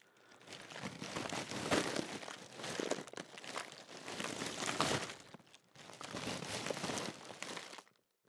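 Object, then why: Metallised plastic crisp packet. Fingertips crinkle a large Walkers crisp packet made of thin, foil-lined metallised plastic with crisps inside, then the hand lifts and shakes the bag. The result is a dense, bright, crackling rustle that swells and eases in waves before cutting off just before the end.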